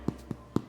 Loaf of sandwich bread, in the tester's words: if you give it a little tap and it sounds hollow, usually that means it's ready